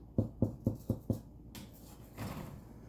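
Five quick, hollow, low-pitched knocks on the crust of a freshly baked homemade hearth loaf of bread, each dying away almost at once. The sound is like someone knocking on a door, showing the loaf is baked through.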